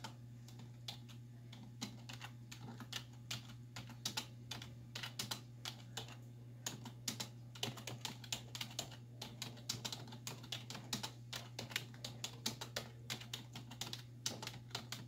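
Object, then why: Plastic computer keyboard. Both hands with long white nails type quickly on a black plastic desktop keyboard with hollow keys, striking with fingertips and nail tips. The result is a dense, fast run of sharp, bright, hollow clicks that die away almost instantly, over a steady low hum.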